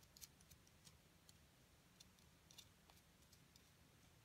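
A thin metal seafood pick scrapes and digs into a solid white plaster excavation block with a carved-out area on top, while a hand with long gold nails holds the block. Quiet, sharp, bright ticks and scratches come in an irregular series, each dying away almost instantly, over a steady low hum.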